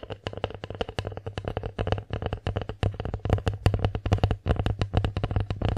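Long acrylic nails tap fast on the surface of a bear-shaped wooden plate held in both hands. Dozens of short, dry, clicky knocks come in quick uneven bursts over a steady low hum, each tap dying away almost instantly.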